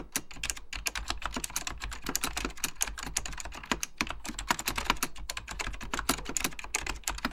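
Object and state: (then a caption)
Plastic mechanical computer keyboard. Fingertips type rapidly on an Apple Extended Keyboard II, a plastic mechanical computer keyboard with beige plastic keycaps and a hollow plastic case. A dense, continuous stream of short, sharp key taps with bright clicky tops sounds over a steady low hum, each tap dying away almost instantly.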